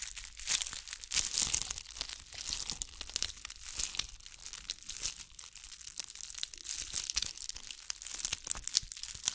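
A ball covered in bugle beads is held beside the microphone and scratched with long nails. The result is a dense, continuous run of bright, crisp crinkling and scratching clicks, with almost no low end.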